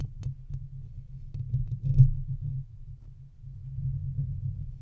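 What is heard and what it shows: Fingertips and nails scratch and rub the hollow round metal mesh grille on top of a silver microphone. The result is a continuous low, muffled rumbling and throbbing, with faint brief scratchy ticks and louder swells around the middle.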